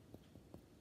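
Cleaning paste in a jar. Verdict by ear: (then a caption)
Solid. Three dull, low knocks sound on the hard, solid cleaning paste in a jar, made of marble flour, coconut oil and soap, to show it arrives very hard; the paste is later made by working it with a wet cloth. Each tap is short and muffled, with almost no ring or brightness.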